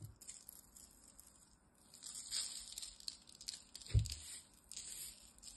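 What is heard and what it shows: A pile of dry, curly green soap shavings is scooped up, squeezed and crumbled in the hand, then let fall back onto the pile. Soft, bright crinkling and rustling rise and fade in bursts, with one dull low thump partway through. The shavings settle back with a faint patter.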